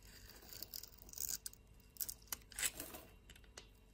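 A blade with a teal handle scrapes cubes and curls off a solid brown soap bar held in the hand. The result is quiet, bright, crackly scraping broken by short, sharp clicks, with almost no low end.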